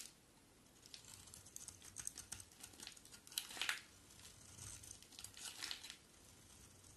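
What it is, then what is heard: Bar soap being shaved. A solid white oval bar of soap is shaved with a box cutter blade, and long white curls fall away. Quiet, bright scraping and crinkling strokes come in quick bursts, with the loudest pass near the middle of the clip.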